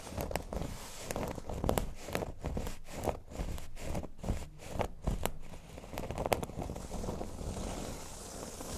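Fingernails scratch the surface of a flat, thin, solid cork board lying on a table. The result is a steady run of short, dry, crackling scrapes with brief bright ticks over a soft low rumble, each stroke dying away instantly.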